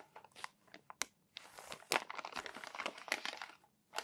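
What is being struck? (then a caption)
Thin paper magazine pages. Fingertips lift and turn the wrinkled pages of a crumpled, thin paper magazine. Sharp, bright crinkles and crackles come in short separate bursts at first, then build into a denser rustling crunch before a brief silence and a final crackle.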